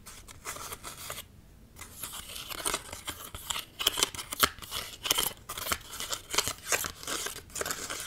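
Fingernails scratch and tap a flat card-stock greeting card printed with balloons, held close to the microphone. Dry, bright scratching comes in irregular bursts with quick, sharp taps and a brief quiet gap near the start. There is almost no low end and no ring after each touch.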